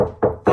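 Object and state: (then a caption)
Hollow section of dot-and-dab plasterboard wall. Repeated knuckle-like taps on a hollow section of a dot and dab plasterboard wall give short, hollow, resonant knocks centred around 500 Hz. The hollow sound comes from the void behind the board, unlike the solid spots where adhesive dollops sit.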